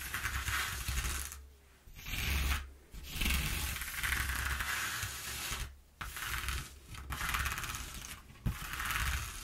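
Long nails scratch and tap across the exposed ridges of a slightly torn single-face corrugated cardboard sheet. The result is a continuous, bright, raspy scraping broken by a few brief pauses, with occasional sharp taps over a steady low rumble.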